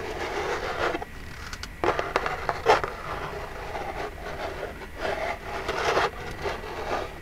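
Long jeweled nails tap and scratch the front of a small, hollow, printed Birchbox cardboard box. Dry scraping bursts alternate with quieter gaps, with a few sharper taps standing out mid-clip. The sound is mostly midrange rustle with short ring.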